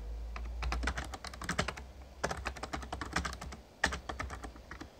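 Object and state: Plastic membrane keyboard.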